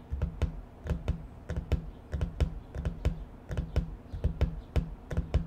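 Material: Cardboard.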